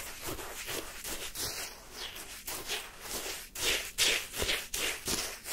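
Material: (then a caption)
Ice. A wooden spoon digs and scrapes the icy surface of pale yellow, granular lemon sherbet shaved ice in a cup held in hand. Crisp, bright, crunchy scraping strokes repeat about every half second in an uneven rhythm, with the later strokes louder and sharper.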